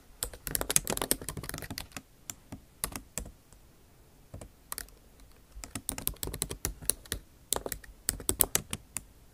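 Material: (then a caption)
Plastic. The backlit keyboard of a MacBook Pro, with bare plastic keys set in an aluminum body, is typed on with the tips of long acrylic nails. Quick runs of sharp, bright clicking taps come in bursts, broken by a short near-silent pause after about three seconds. Each tap dies away almost instantly.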